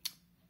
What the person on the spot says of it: You can hear how crispy they are.